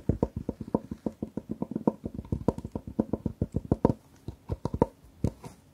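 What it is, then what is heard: Fabric-covered hard jewellery box tapped with nails. Long nails tap and scratch the lid of a long, closed, hard jewellery case covered in patterned fabric, held horizontally. A rapid, uneven run of about thirty-four short, dry taps sounds with a low, dull knock around 234 Hz, each dying away almost instantly, with a few softer scratchy strokes in between.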